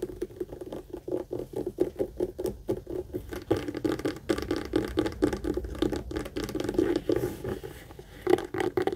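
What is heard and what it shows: Long acrylic nails rapidly tap and scratch the front and sides of a hollow, apparently empty, medium brown pebbled-leather Michael Kors tote, which is held up by its handle. A dense, quick patter of short, dull, mid-pitched knocks is heard, mixed with soft scratching. It carries steadily throughout with a few louder taps near the end.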